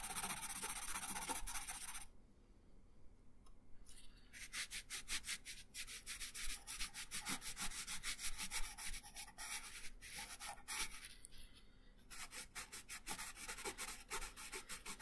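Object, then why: Colored pencil on thin paper over a wooden table. An orange colored pencil shades a thin paper coloring page resting on a wooden table, making rapid rubbing and scratching strokes with a bright, hissy texture. The steady back-and-forth strokes pause briefly near the start and again near the end before resuming.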